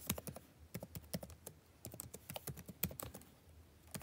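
Fingertips of both hands type fast on the plastic keys of a backlit laptop keyboard. The result is a quiet, rapid run of short, dry clicks and taps with a low thud under each keystroke and a little bright tick on top.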